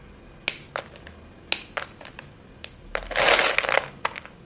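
Fingertips with painted nails break and crush short, solid white chalk sticks piled in a bowl, raising visible chalk dust. Sharp, dry crunching snaps come at irregular intervals, followed by a denser, brighter stretch of grinding crumble near the end.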